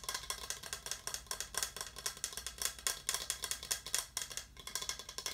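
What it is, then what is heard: Plastic skull cup. A small, hollow, translucent orange plastic skull-shaped cup is held and tapped rapidly with fingertips. The result is a fast run of about 38 short, bright, clicky taps that die out almost at once, sounding like a wood block. The sound has very little low end.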